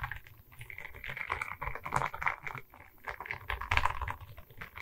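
Long red nails tap and scratch across a diamond painting on a wooden canvas, a flat rectangular board covered in small resin rhinestone beads on a wooden frame, held in both hands. Quick, dry clicking taps mix with bright, gritty scratching in an uneven, continuous patter, over a faint low rumble.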